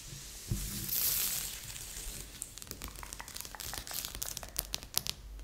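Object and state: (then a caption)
Cardboard jigsaw puzzle. Fingertips and nails rub and scratch across a large assembled cardboard jigsaw puzzle lying flat on a board. A soft low thump opens into a broad bright rustling sweep, followed by a dense run of crisp, dry scratches and ticks with no ring.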